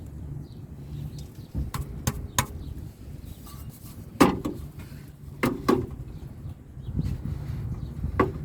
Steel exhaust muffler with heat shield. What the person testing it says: I hit the muffler and I shake it a few times just to make sure that it's not making any more noise